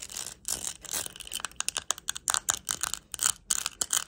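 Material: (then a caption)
Plastic. A small round hand-held compact covered in purple, green and clear plastic rhinestones is tapped and scratched with long acrylic nails. The result is a quick string of bright, sharp clicks and scratchy rasps with almost no low end and no ring.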